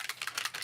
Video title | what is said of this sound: Let’s Layer It Up! - Mixed Media LIVE | you have to make sure you can hear the ball freely